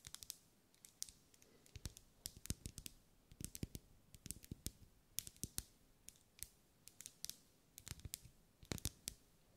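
A lit pink ribbed solid wax pillar candle is tapped with long acrylic nails. Quick, dry clicks arrive in irregular clusters, each with a bright, sharp top and a soft low thump. They die away almost instantly over a quiet background.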